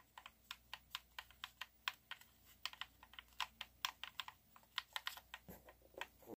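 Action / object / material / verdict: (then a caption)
tap / plastic game controller / plastic / none. A handheld black plastic Xbox One controller, a hollow shell with colored face buttons and thumbsticks, is held in both hands while fingertips and thumbs repeatedly press and click the buttons. The result is a quiet, uneven run of short, dry, bright plastic clicks that stop instantly with no ring, over a faint low hum.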